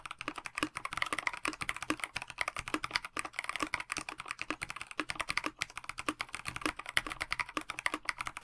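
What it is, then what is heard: Mechanical keyboard with plastic case and PBT keycaps. A KBD67 Lite 65% mechanical keyboard with a plastic case, translucent backlit PBT keycaps and stock linear switches is typed on continuously with the fingertips of both hands. About 63 quick, short key taps form a bright, clacky patter with very little low end.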